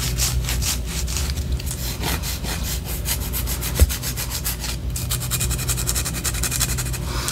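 Long orange acrylic nails scratch the top edge and side of a large white solid wax pillar candle, making fast, steady rasping strokes with a bright, papery edge over a low, constant hum. Partway through, one sharp tap briefly stands out above the continuous scratching.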